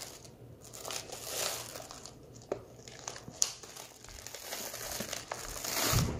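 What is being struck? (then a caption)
Foil-lined plastic candy pouch with candies inside. A medium foil-lined plastic M&M's Minis stand-up pouch, open and nearly full of small candy-coated chocolates, is held in both hands while the fingertips crinkle and squeeze its edges. Bright, dry crinkling swells and fades, broken by a few sharp crackles, and the candies can be heard shifting inside.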